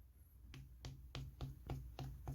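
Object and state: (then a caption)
Solid concrete wall. A living-room concrete wall is tapped by hand seven times. Each tap is a short, hard, dry knock with a clipped ring and a low thud around 130 Hz. The sound is that of solid, very hard concrete.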